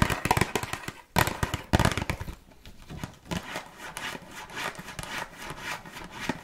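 A small, red, printed cardboard box of burger cookies, closed and hollow with contents inside, is held in the hands and tapped and scratched with long nails. Rapid, crisp, crackly taps with a hollow low thud come in dense bursts over the first two seconds. Quieter, bright scratching and lighter tapping continue to the end.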